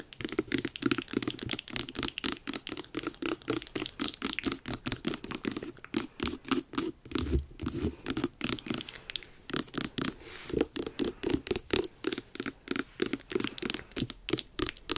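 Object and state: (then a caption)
Carved pumpkin, hollow. Long nails tap and scratch across the top of the orange rind of a medium, hollow, carved jack-o'-lantern pumpkin. The result is a steady run of quick, dry, crisp taps and scratchy scrapes with a bright high edge and a hollow low thump, with each touch dying away almost at once.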